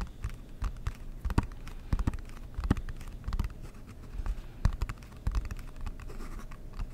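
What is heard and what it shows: Fingertips and nails tap and scratch the lid of a large, flat, rectangular dark blue cardboard Monopoly board game box, which is hollow and held in both hands close to the mic. Irregular, dull, low thumps mix with soft scratchy rustling, each tap dying away almost at once.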